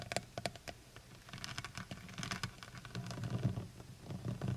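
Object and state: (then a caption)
Plastic honey bottle tapped with nails. Long white nails tap the sides of a full plastic honey bottle held in both hands. Quick, light clicking taps with bright edges come in irregular bursts over a steady low hum, building slightly denser toward the end.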